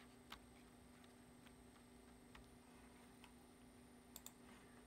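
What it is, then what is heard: Plastic computer keyboard being typed on. Fingertips tap slowly on the keys of a black plastic computer keyboard, giving sparse, short, bright clicks that die away almost at once. A quick pair of clicks comes near the end, over a quiet, steady low hum and a faint high whine.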